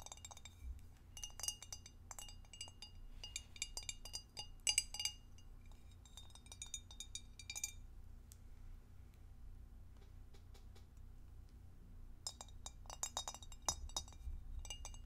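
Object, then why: Glass divided food container. Long acrylic nails tap on the base and sides of a clear, empty, hollow rectangular glass divided food container held in both hands. The taps come as bursts of quick, bright glassy clinks that die away almost instantly, with a quieter stretch in the middle. A steady low hum runs underneath throughout.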